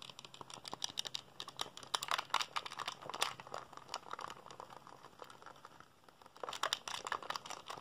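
A black, hollow, hand-sized plastic PSP handheld console is held in both hands while fingertips rapidly press its buttons. Fast, dense bursts of sharp, bright plastic clicks centered around 1.2 kHz rattle on, ease into a quieter lull near the six-second mark, then pick up again.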